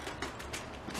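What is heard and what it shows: A dried loofah sponge gourd is shaken to get its seeds out, and the seeds rattle inside it in soft, dry bursts of clicking with a bright hiss. The rattling shows the gourd still holds seeds.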